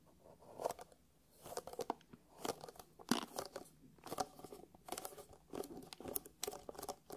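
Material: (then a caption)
Faux leather. Fingertips and nails quickly tap and scratch across the top and along the seam of a closed, hollow black hard-shell eyeglasses case covered in faux leather. Short, crisp clicks and dry, crunchy scrapes come in uneven bursts with bright, papery texture and almost no low end, each sound dying away almost instantly.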